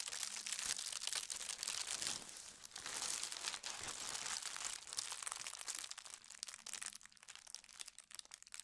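Flat hands and fingertips with long red nails slide over a thin holly-print tissue paper sheet spread on a table, smoothing it out. The paper gives a steady, dense, bright crinkling and rustling with crisp little crackles that thins out and grows quieter toward the end.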